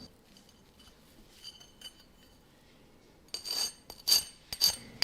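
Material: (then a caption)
Rice cake. The crisp outer crust of freshly baked butter mochi (glutinous rice cake) crackles as it is pressed and broken apart, giving a series of short, bright, dry crunches and clicks. Faint crackles in the first three seconds build to louder crunch bursts near the end, with no ringing. The crust sounds satisfyingly crunchy.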